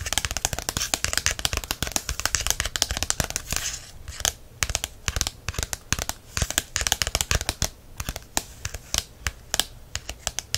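Fingertips and nails tap and scratch the glossy card front cover of a small, thick 'Essential Guide to Herbs' paperback lying closed. Rapid, crisp, dry taps mix with bright scratchy rustling that stops almost instantly, with a brief lull around the four-second mark.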